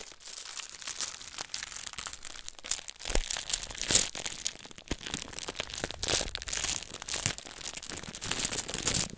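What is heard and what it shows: A small clear plastic bag filled with colorful glass fish tank beads is held in the hands and squeezed, crinkled and shaken close to the mic. Bright, dense plastic crinkling mixes with the clicking rattle of the beads inside. The sound comes in continuous bursts with a few sharper crunches.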